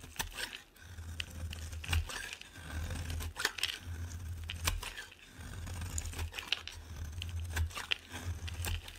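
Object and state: Bar soap being shaved.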